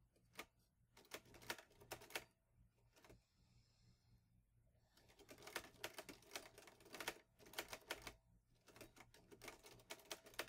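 Fingertips type on the keys of a green metal portable manual typewriter, an Olivetti Lettera 22. Quick bursts of sharp, bright metallic clacks come in clusters, with a quieter pause in the middle where only a faint low hum remains.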